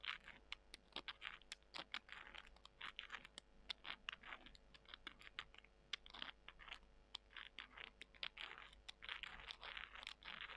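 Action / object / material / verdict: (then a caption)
scrape / dried soy chunks scratched with fingernails / dried soy / none. Small, dry soy chunks are held in both hands while long nails scratch them and the chunks are rubbed together. Quick, dry, crisp clicks and scratchy crinkling crunches come in fast, irregular bursts, bright and thin with almost no low end and no ring after each tap.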